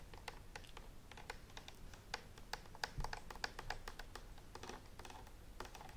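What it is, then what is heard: Plastic steam iron tapped with fingernails. Long nails tap and scratch along the handle and dial of a green and white plastic clothes steam iron with a hollow body, held up close. Quick, light clicky taps come in an irregular stream, each a dry, bright tick that dies at once, with faint scratching between them over a low background rumble.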